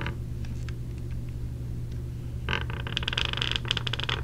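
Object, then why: Small clear plastic case. Long nails tap on the lid of a small clear plastic clamshell case holding earplugs, held in the hand. A few faint clicks sound over a steady low hum, then from about halfway a quick run of sharp, bright plastic taps and light scrapes builds, each dying away almost instantly.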